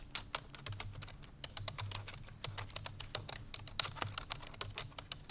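Fingertips with long painted nails rapidly press the keys of a full-size black plastic computer keyboard resting on a white fur rug. The result is a fast, steady stream of short, bright, clicky taps with almost no ring, over a faint low hum.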